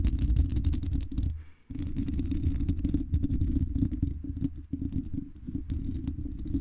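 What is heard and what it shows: Long red nails scratch the silver mesh metal grille of a condenser microphone's hollow dome. The result is a dense, low, rumbling scrape with rapid irregular scratching ticks and brief bright crackles. The sound pauses briefly near the middle and then resumes.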